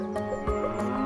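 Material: Nothing is struck.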